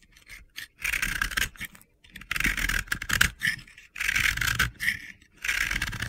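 A metal utility-knife blade scrapes a partly carved, yellow-pink solid ball of pressed-powder bath bomb held in the hand. Gritty, crunchy scraping strokes come in bursts with short pauses between them. The sound is a dry, hissy rasp centred in the upper mids with bright highs.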